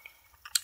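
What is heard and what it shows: Two mechanical ball tilt sensors rattle inside an LED 3D electronic dice as it is shaken. Three brief, bright, high-pitched ticks are heard, faint at first and sharpest at the end, with almost no low end and no ring.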